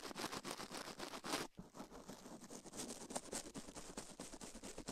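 Toothbrush bristles rapidly brush and scratch the soft silicone right ear of a binaural microphone mounted on a metal mic plate, while the left ear is left untouched. Quick, bright, scratchy strokes run almost continuously, with a brief drop in sound around 1.5 seconds before the brushing resumes at a steady, slightly softer pace.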